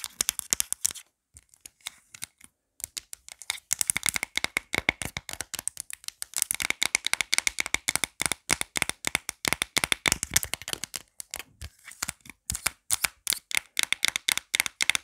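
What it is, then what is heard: Plastic phone case. Long black nails tap fast across the back and edges of a marble-print plastic phone case with a pop grip. The result is dozens of quick, dry, bright clicks in dense bursts with brief pauses, each one cutting off almost instantly.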